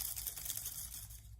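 Old, dry leaves picked up from the ground in a park are shaken, giving a crisp, papery rustle and crackle made mostly of high frequencies over a low background hum. The leaves sound very dry and brittle.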